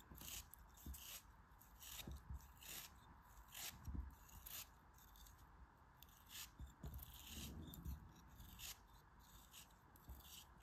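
A small solid block of grey kinetic sand, held in red-nailed fingers, is sliced and scraped with a metal craft knife blade as crumbs fall off. Soft, gritty scrapes and crunchy cuts with bright, hissy grain repeat in quick bursts over a low, dull rumble. The sound stays quiet and close throughout.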